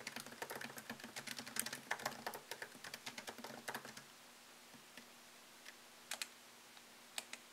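Fingertips type fast on a MacBook Pro keyboard, its low-profile plastic keys set in a thin solid aluminum chassis, producing about thirty short, bright clicks. A dense burst of keystrokes runs for about four seconds, then thins to a few scattered taps over a faint steady low hum.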